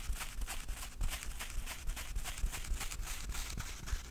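Fingertips tap and knock on the lid and sides of a small, closed, hollow rectangular cardboard jewelry box with a dark blue covering, held in both hands. About 13 quiet, hollow thuds come in an uneven, rapid pattern, each with a soft, bright click on top. Every knock dies away almost at once.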